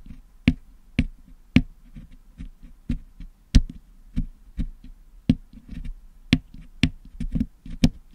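A wooden toothpick picks at the lower mesh of a Blue Yeti microphone's hollow metal mesh dome grille, which is packed with blue and yellow putty, to clean the putty out. A series of short, dry clicks and taps is heard at irregular intervals. Each one has a dull low thud and a bright, brief tick that dies away almost at once.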